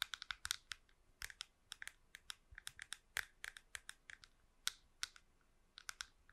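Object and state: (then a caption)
Plastic computer mouse tapped with nails. Long nails tap and scratch the curved shell of a small, hollow, smooth plastic wireless computer mouse held close to a microphone. About thirty quick, dry, bright clicks and ticks come in an uneven, typing-like patter, each dying away almost instantly with very little low end.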